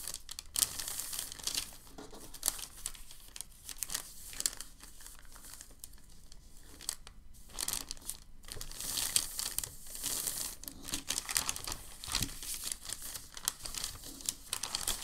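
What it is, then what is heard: Crinkled packing paper sheet. A large, crinkled sheet of white packing paper lies flat while fingertips rub and press across its surface. The result is a steady stream of bright, dry crinkling and rubbing that swells and fades in dense bursts throughout.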